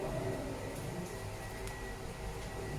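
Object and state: Nothing is struck.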